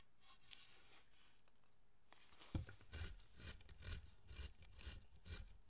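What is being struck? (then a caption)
Carved wooden statue. A wooden-handled chisel pares and scrapes the surface of a solid pale wood carved statue of Zōchōten resting on a bench. After a faint, quiet scraping, a sharp cut lands, followed by a steady run of dry, rasping strokes with low, woody thuds and bright scratchy edges.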